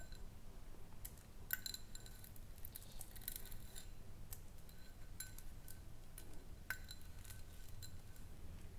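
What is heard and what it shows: A small, round, clear glass jar without its lid, hollow and mostly empty with a little white contents, is held in both hands and tapped with long nails. Light, bright clinks sound irregularly throughout, each with a brief glassy ring near 1.5 kHz over a steady low background hum.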